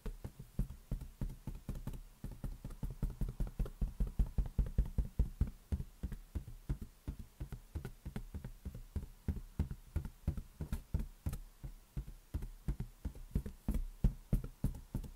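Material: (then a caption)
Latex. A large, hollow, inflated green latex balloon resting on a palm is tapped rapidly with fingertips and nails. The result is a dense, uneven stream of dull, deep thumps that die out almost instantly, with very little high-end sound.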